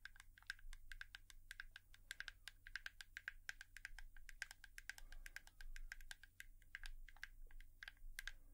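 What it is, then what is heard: Hairbrush, tapped with nails. A hairbrush is tapped with long nails in a quiet ASMR tapping session. Rapid, uneven streams of sharp, dry clicks with a bright edge and a tonal ring around 1.6 kHz sit over a steady low hum. Each tap dies away almost instantly.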